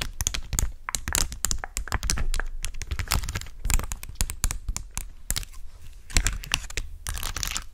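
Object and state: Plastic rhinestone sticker sheet.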